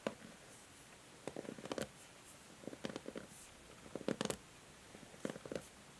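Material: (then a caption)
Plastic. Long nails scratch and strum across the plastic pins of a pink and white plastic paddle hair brush held in the hand. Soft, quiet clusters of quick clicky, scratchy plucks come in short bursts with brief silences between them. Each pluck has a bright edge and dies away almost at once.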